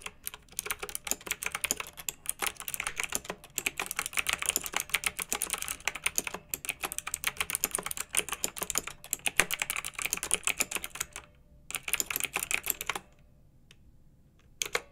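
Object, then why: Plastic mechanical keyboard. Fingertips with long nails type rapidly on a pink mechanical keyboard with round retro plastic keycaps, blue backlight and a hollow plastic case. The result is a dense, steady stream of bright, crisp clacking keystrokes with very short decay. The typing pauses briefly near the end, then a final short burst sounds.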